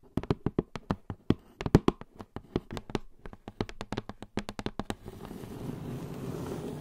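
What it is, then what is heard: Cardboard gift box with foil lid. Long blue nails tap the top of the shiny foil-covered lid of a medium, hollow polka-dot cardboard gift box, making about 33 quick, dull, low knocks with almost no ring. At about five seconds the taps give way to a steady, soft scratching hiss across the lid.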